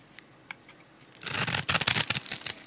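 A metal utility-knife blade scrapes and cuts the scored surface of a solid, palm-sized, blue and white striped dry soap bar held in the hand, releasing small cubes. After about a second of near silence with a few faint ticks, a dense burst of bright, dry scraping and crackling begins and continues to the end. The sound is mostly high with very little low end.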